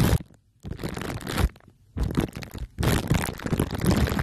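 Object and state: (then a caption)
Foil and plastic-wrap covered microphone being rubbed. Two glue sticks are pressed and rubbed on top of a microphone head wrapped in crumpled aluminium foil under clear plastic wrap. Dense, close crunching and crinkling comes in four bursts separated by short quiet pauses, with a heavy low rumble under the bright crackle.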